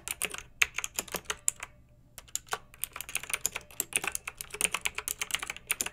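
A pink backlit plastic mechanical keyboard with round typewriter-style keycaps is typed on with fingertips and long nails. Quick, bright clicky keystrokes come in bursts, with a short pause near two seconds before the typing resumes.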